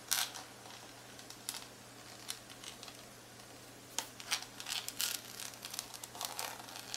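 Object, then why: Plastic calculator back casing. Long acrylic nails tap and scratch across the hard plastic back of a black graphing calculator with a barcode sticker and a hollow casing. The sound is a quiet series of sharp, bright clicks and scratchy swishes, some in quick clusters, each dying away almost at once over a faint steady low hum.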